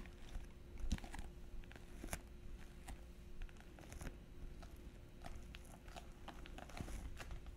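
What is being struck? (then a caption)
Glitter fabric clutch purse with metal frame. A small, hollow silver glitter-textured fabric clutch purse with metal frame trim is held up and tapped and scratched with long painted nails. Quiet, crunchy taps and scratchy rasps come in an irregular string over a steady low rumble and a faint constant hum. Each tap is short and dry with no ring.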